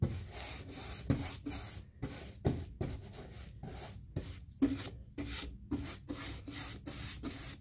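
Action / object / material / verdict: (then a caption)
scrape / painted molded fiberboard door panel / fiberboard / none. A paint brush scrubs around the raised square panel of a large white, textured, painted molded fiberboard (hardboard) interior door. About fifteen scratchy, bristly strokes come in quick succession, each a brief rough swish with a low body and a soft bright hiss, separated by short pauses.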